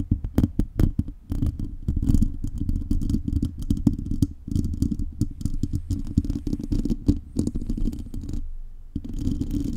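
Long nails scratch rapidly over a metal mesh microphone grille with a foam cover, producing dense, rumbling, low-heavy scraping with many quick clicks. The scratching pauses briefly near the end before starting again.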